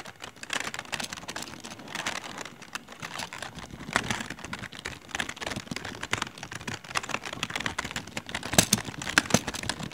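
Both hands type with their fingertips on a full-size plastic computer keyboard with rainbow LED backlit keys, resting on a patterned mat in a dark room. A steady stream of quick, bright plastic key clicks and clacks runs throughout, with a few louder taps standing out near the end.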